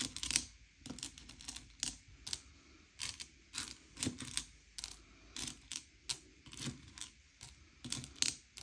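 Fingertips slide and push small, hard, sugar-shelled M&M's candy-coated chocolates across a pile on a grey plate, sorting them by colour. Bright, dry clicks and rattling clacks come in quick, irregular bursts as the candies knock against each other and the plate. Each sound dies away almost instantly, with little low end.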